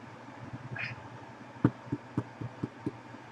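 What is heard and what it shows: An artisan bread loaf, turned back over, is tapped again, giving a quick series of dull, hollow thumps over a low steady hum. The hollow sound shows the loaf is baked through.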